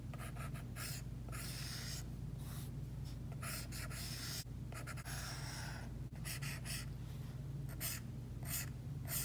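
The hard plastic tip of an Apple Pencil is dragged in drawing strokes across an iPad's glass screen covered by a matte plastic screen protector. Bursts of dry, bright scratching and rubbing come and go over a steady low hum. The strokes vary in length, some sustained and some short and quick.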